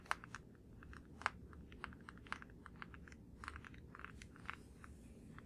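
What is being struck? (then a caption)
Plastic deodorant stick. Fingertips tap quickly on a blue plastic deodorant stick held in both hands. The result is a fast, irregular run of short, dry, clicky taps with a bright midrange snap and no ring, a few landing louder than the rest, over a faint low rumble.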